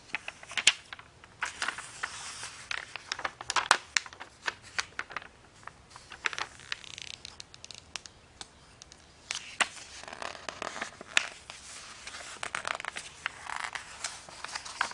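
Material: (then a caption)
Paper. Hands with long painted nails grab, bend and flip the thin pages of an open glossy paper magazine lying on a bed. The result is dry, bright crinkling and rustling, with many short, sharp crackles and brief swishing bursts over a quiet background.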